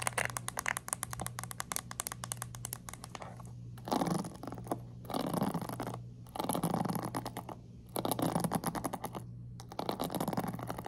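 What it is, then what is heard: Plastic pin-bristle hairbrush being scratched. A hand-sized black plastic paddle hairbrush with dense plastic pin bristles is held over a table while long acrylic nails scratch and flick across the pins. Rapid bright ticking and scratchy rasps come in bursts separated by short pauses, over a steady low hum.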